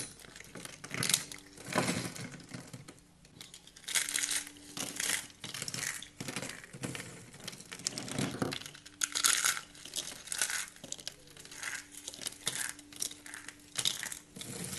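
Fingers with painted nails crush and rub a pile of green and white shaved dry soap curls and flakes, breaking them into brittle fragments. The sound is a series of bright, crisp crunching and crackling bursts with short pauses between squeezes, each crackle dying away almost instantly.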